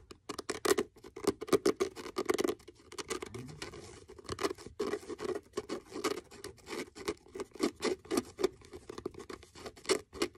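Fingernails tap and scratch the cover and spine of a solid blue faux leather-covered hardcover notebook with cream page edges and a blue elastic band. Quick, dry taps come in irregular bursts, each stopping almost at once with a muted mid-range knock. A softer, continuous scratching stretch sits in the middle.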